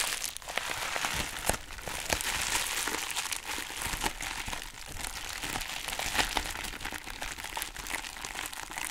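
A soft pink embossed foam/plastic packaging wrap is held in both hands and crumpled and rubbed by fingers with long nails. It makes a steady, bright crinkling and crackling with frequent sharp crunchy pops over a quiet low end.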